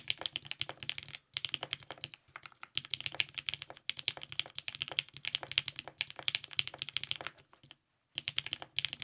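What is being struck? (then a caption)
Mechanical keyboard with plastic keycaps. A compact TGR 910 RE mechanical keyboard with lubed 55g Nixie switches, a polycarbonate plate and purple GMK ABS keycaps is typed on continuously with the fingertips of both hands. Rapid, crisp, bright clacks come in quick bursts with almost no low end and very short decay. There are brief pauses near 1, 2.5 and 8 seconds.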